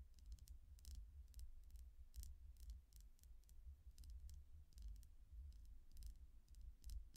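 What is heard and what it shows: A long painted fingernail taps steadily on the surface of a small, solid, clear quartz point pendant with colored chakra stones and a chain. The result is a quick series of short, bright clicks over a constant low rumble.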